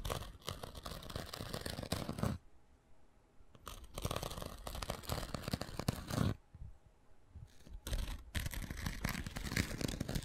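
A thin wooden stick scrapes and scratches across the gritty abrasive surface of a rectangular foam sanding sponge. Dense, rapid scratching comes in three bursts separated by short quiet pauses, with a brief gap inside the last one. The scratching is broadband and rough, with most of its energy weighted toward the low end.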